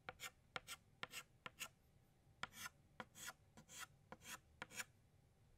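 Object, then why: Chalk stick on a slate chalkboard. An orange chalk stick makes short radial tick strokes around the center of a flower drawn on a flat black chalkboard. The result is a quick, unevenly spaced series of bright, dry scratches, some sharp ticks and some slightly longer rasps, with quiet pauses between them.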